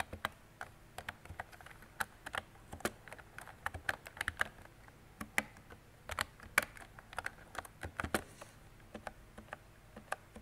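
Fingertips and long nails type on a mint-green retro mechanical keyboard with round plastic keycaps and a hollow body. About 31 quick, sharp plastic clacks and taps land in an uneven typing rhythm over ten seconds. Each keystroke is a brief, bright tick that dies away almost instantly against a quiet background.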